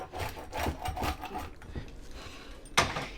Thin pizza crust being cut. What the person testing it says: let me cut one more piece here just so you can hear how crispy it is